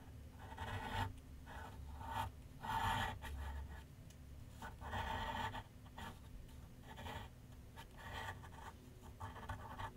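A graphite pencil shades across a large white paper sheet mounted on a flat board on an easel, making light, dry scratching strokes. The strokes come in irregular bursts of soft rasping with a steady low rumble underneath.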